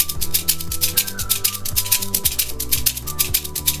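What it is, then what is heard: Metal baking shaker. A small cylindrical metal baking shaker with a perforated lid, its contents rattling inside, is held upright in one hand and shaken back and forth. It makes quick, bright, hissing rattle bursts at a loose rhythm of about two per second. The shaking plays over steady low musical tones.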